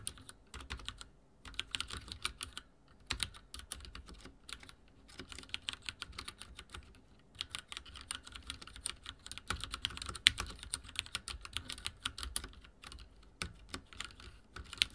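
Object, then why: Mechanical keyboard with plastic keycaps. Fingertips type at a slower pace on a backlit mechanical keyboard with dark plastic keycaps. Sharp, bright clicks and clacks come in quick runs separated by brief pauses, each keystroke dying away at once. A soft low thump sits under the bright key noise.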